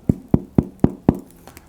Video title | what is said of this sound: Easy No-Knead Bread! SO EASY, LIKE REALLY REALLY EASY! | Nice hollow sound on the inside. That's exactly what bread should sound like.